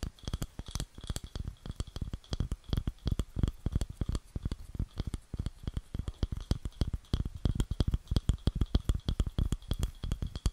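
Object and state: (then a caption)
Wooden bowl. Long nails tap and scratch the underside of a round, light wooden bowl, about palm-to-plate size, hollow and empty and held close to the microphone. The result is a rapid, uneven stream of dull, low, hollow knocks that die away almost instantly, with soft scratchy bursts and a faint steady tone near 3 kHz underneath.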